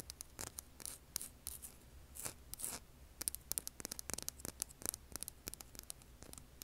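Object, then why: Rough granite-like rock. Long polished nails scratch and tap the side of a large, solid, rough granite-like rock held in the hand. Quiet, bright, crisp clicks and short scratchy rasps come in an irregular run, each dying away instantly with no ring.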